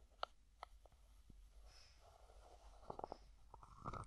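Fingertips slowly twist the plastic screw lid of a small white plastic cosmetic jar held in one hand. The result is a quiet series of short, dry clicks and scratchy grinding, with brief tonal ticks around 1.3 kHz and faint bright rasps.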